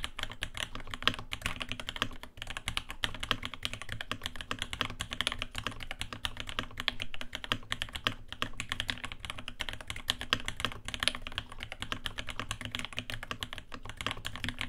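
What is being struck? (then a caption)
Mechanical keyboard, aluminium case with brass plate and plastic keycaps. Rapid, continuous typing with both hands' fingertips on a navy 80% mechanical keyboard, a RAMA WORKS LAKE U80-A with Alpaca switches, an aluminium case, a brass plate and ABS keycaps. Dense, short, clacky key taps blend into a steady patter with bright clicks over a low, thocky body and no pauses.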